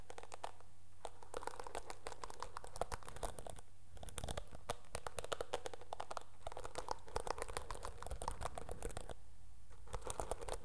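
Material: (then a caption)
Plastic. Long nails scratch across the dark bristles of a teal plastic hairbrush, producing dense, rapid crackling and scratching clicks over a steady low hum. The scratching runs almost continuously, with brief lulls near 1, 4 and 9 seconds.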